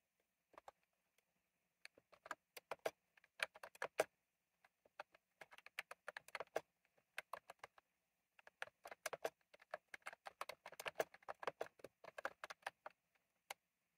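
Fingertips type on a retro plastic mechanical keyboard with round plastic keycaps, producing bursts of quick, crisp clicks separated by short pauses. Each keystroke is a dry, sharp tap with a bright edge and almost no ring, and the clip ends with a single isolated click.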